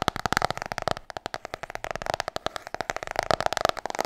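Long nails tap quickly on the cover of a large, solid, glossy hardcover book. The result is a rapid run of short, dry clicks with a hollow midrange tone and bright edges, which thins out briefly about a second in before picking back up.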